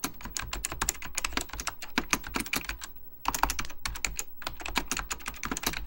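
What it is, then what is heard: Mechanical plastic keyboard being typed on. A full-size beige plastic Apple Extended Keyboard II with mechanical key switches is typed on with the fingertips of both hands under purple lighting. Quick, bright clacky keystrokes come in dense bursts over a low thud, each dying away almost instantly, with a brief pause near the middle before the typing resumes.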